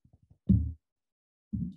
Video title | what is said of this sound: Spinning Yarns Speaker Series: Catherine Knutsson of the Small Bird Workshop | so that whooping sound is called a ping test and that is a sign that this is a very very strong fiber